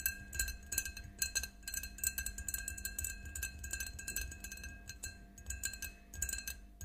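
Long nails tap rapidly and repeatedly on the sides of an empty, clear faceted drinking glass standing on a table. Each tap gives a short, bright glassy clink with a high ringing tone that dies away almost at once, over a soft low rumble.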